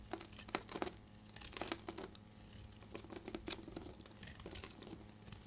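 A solid deep red bar of dried soap, held in the hand, is scraped and shaved with a utility blade, shedding crumbly flakes. The clip is a dense run of quick, dry scratching and crackling strokes with a bright, crisp edge, louder in bursts near the start and again toward the middle.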